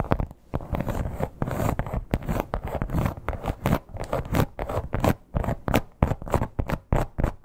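Long black-tipped nails scratch and tap across the embossed texture of a red crocodile-embossed leather clutch. Dry, scratchy rasps alternate with soft, quick taps in an uneven rhythm, each sound dying away almost at once with a low, dull body.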